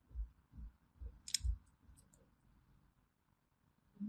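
A solid orange bar of hand soap, held in the hand, is scored in diagonal grooves with a small thin metal blade, scratching and cutting into it. Soft low thuds and faint scraping are heard, with one sharp, bright click partway through. A quiet low rumble closes the clip.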